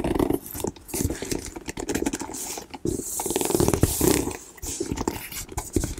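Long nails tap and scratch across the woven surface of a medium plum woven leather hobo bag, which is soft and hollow. The result is a dense run of soft, dull taps mixed with rustling scrapes, close and steady over six seconds.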